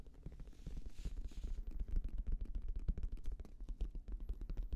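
A black, oval, fabric-covered semi-rigid Bose headphone case, hollow and slightly larger than a hand, is held up close to the microphone and tapped rapidly with the fingertips. The result is a quick, steady patter of soft, deep, hollow thumps with almost no ring and no brightness.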